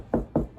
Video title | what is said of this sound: How To Hang A Shelf With Metal Brackets In Drywall | goes back to being hollow